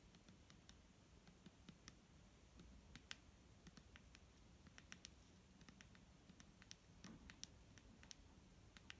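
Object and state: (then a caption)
Plastic bottle of liquid tapped with fingernails. A clear plastic micellar water bottle filled with liquid is tapped with fingernails in a quiet, irregular patter of dozens of light taps. Each tap is a sharp, bright click that dies away almost instantly, over a soft low background hum.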